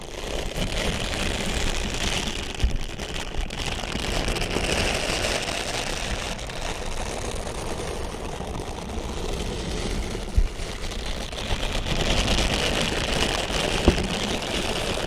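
Fingertips scratch and rub a grey, hand-sized, puffy plastic mesh shower scrubber held in the hands, making a steady, dense crackling rustle with a low rumble underneath. A few sharper clicks stand out around 3, 10 and 14 seconds, and the scratching grows slightly louder near the end.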